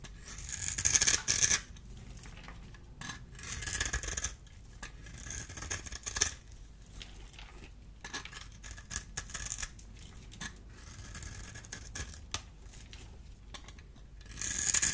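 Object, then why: Bar of soap cut with a small blade. A solid oval green bar of dry soap, held in the hand, is cut and scraped with a small metal blade tool into cubes that fall off. Crisp, bright scraping and slicing repeats in quick, irregular bursts, with louder crunchy cuts near the start, middle and end over a low steady background.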